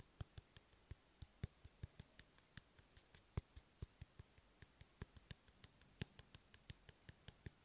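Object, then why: Empty cardboard tube. Fingernails tap and scratch on an empty, hollow cardboard toilet paper roll held in the hand. About 35 quiet, dry, sharp clicks come in a quick, uneven rhythm, each with a bright high edge and a faint hollow low thump. The clicks die away almost instantly, leaving no ring.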